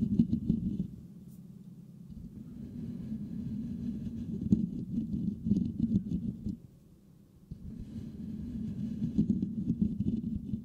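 Fingertips and nails of both hands scratch the perforated metal mesh grille of a white Blue Yeti microphone with a hollow head, producing a dense, low, rumbling scratch centered around 200 Hz with scattered brighter clicks. The scratching drops to near silence for about a second around the 7-second mark, then resumes at the same intensity.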